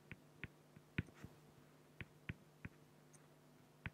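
A fine felt-tip marker makes short, repeated strokes on a flat, clear acrylic plexiglass sheet. Eight brief, irregularly spaced taps and scratches click against a quiet background, each a dry, low knock with a faint bright edge that dies away almost instantly.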